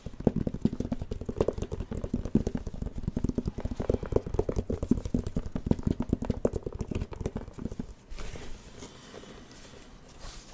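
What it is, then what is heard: Plastic light-up drawing pad. Fingertips tap rapidly across the screen of a plastic light-up drawing pad with a white frame, making a dense run of short, dull plastic clicks with a hollow low tone. Around eight seconds the tapping stops and only faint, soft rustling remains.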